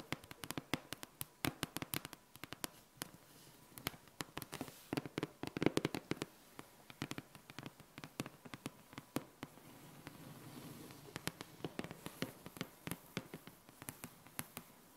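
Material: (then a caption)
Laminated board. Long painted nails and fingertips of both hands tap and scratch a small, flat, solid, laminated clock-printed dry-erase board lying on a table. Many quick, dry, clicky taps with almost no ring are heard, with softer scratching passages in between, most noticeably around the ten-second mark. Faint bird and dog sounds sit in the quiet background.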